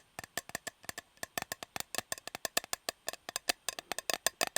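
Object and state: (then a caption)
Metal cake tin. Fingers tap on a shiny, unopened Fortnum & Mason metal fruit cake tin with the cake still inside and sticky tape on its rim, which adds to the tapping sound. About 29 quick, dry, bright taps come in an irregular rapid series, each clicking sharply with almost no ring or low end.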